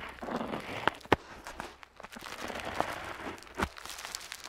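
An ornate metal dip pen nib scratches across a flat paper map sheet lying on a table as coastlines are drawn. Soft, irregular scratching and dry paper rustle are heard, broken by a few sharp, bright ticks where the nib catches the paper.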